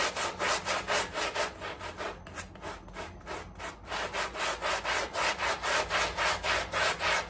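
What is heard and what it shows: A gloved hand scrubs a small, dirty, muddy flat woven rug covered in soapy foam with a long-handled round brush. Rapid, steady back-and-forth strokes make a rhythmic, bright rasping swish, like sawing. The strokes soften slightly midway, then return to full strength.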